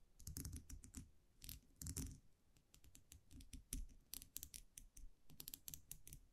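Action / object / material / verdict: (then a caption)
tap / wire champagne muselet with metal cap / metal / none. A small wire champagne muselet with a round metal cap is held in the fingers while the cap is tapped and scratched with long nails. A quiet, close, irregular run of quick clicky taps and scratches follows, with bright metallic ticks over soft low thumps and short decays.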